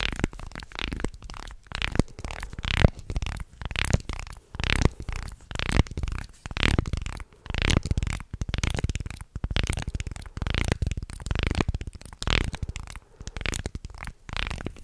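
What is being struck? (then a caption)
Wooden segmented toy shark. A wooden segmented shark toy is held horizontally in front of the mic while fingers bend it and rub along its segments. This produces bursts of dense, dry clicking and grinding in an irregular rhythm. The sound is heavy in low, rumbly tones, with only a little brightness on top.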